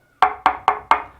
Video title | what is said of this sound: Best Plasterboard Fixings. Which is the best. | if you knock on the wall where it's hollow you get a totally different sound